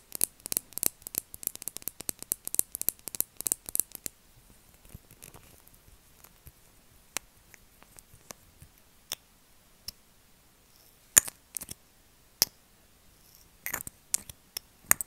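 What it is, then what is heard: Plastic lip gloss bottle. Long acrylic nails tap and scratch a small pink plastic lip gloss bottle filled with gloss, with a metallic rose-gold cap. A rapid flurry of bright, crisp clicks fills the first four seconds, then sharp, isolated taps and brief scratchy bursts follow at irregular intervals over near silence. The sound is dry and high-pitched, with almost no low end.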